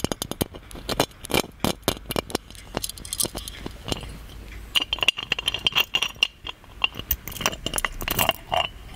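A hollow gold metal genie lamp is tapped and scratched with fingertips and nails, then turned to show its base. Dense, quick taps and scrapes give off bright, brief metallic clinks with a faint high ring around 2.8 kHz. Between the taps comes a steady rasp of scratching.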